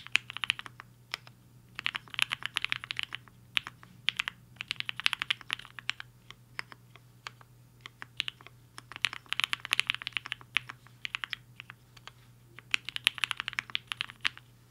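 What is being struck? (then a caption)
Mechanical keyboard with plastic keycaps. Fingertips of both hands type fast on a compact mechanical keyboard with a black case and white and pink plastic keycaps, resting on a desk mat. Bright, crisp plastic clacks come in quick bursts with brief pauses between them, over a faint steady low hum.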